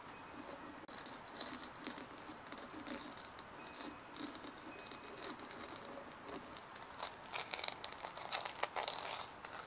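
Long nails scratch and click across the bumpy surface of a white, hollow, dimpled plastic ball, first as it rests on a wooden table and then as it is held up. The result is a quiet, dry, bright patter of fast scratches and sharp little clicks that grow denser and louder toward the end.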